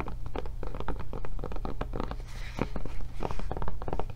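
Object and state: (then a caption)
Rubber tablet case tapped and scratched. Long nails rapidly tap and scratch the textured rubber back and handle of a blue rubber tablet case, held up with the tablet inside. The result is a quick, uneven run of soft, dull taps mixed with brief scratchy scrapes, all over a steady low hum.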